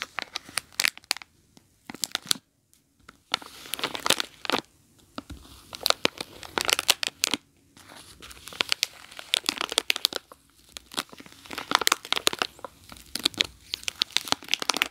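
Long nails scratch and press a small bar of soap sealed in a crinkly plastic film wrapper, lying on a carpet. Dense, bright crinkling and crackling comes in bursts of rapid, sharp scratches separated by brief pauses, with almost no low end.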